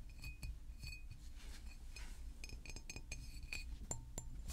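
A hollow green glass San Pellegrino water bottle, about 750 ml, is held in the hands and tapped with fingertips and nails. The result is a series of quick, quiet glassy clinks with bright, high ringing tones that die away almost instantly, over a steady low rumble.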